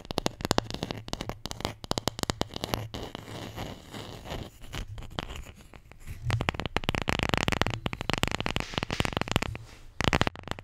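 A wooden Scrabble letter tile, the J, is tapped and scratched in rapid, uneven bursts. Dry, clicky taps blend with rough scratching, getting denser and louder in the second half, over a faint low hum.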